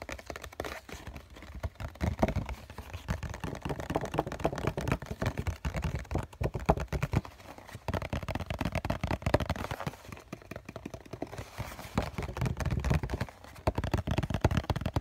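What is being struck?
Cardboard tissue box.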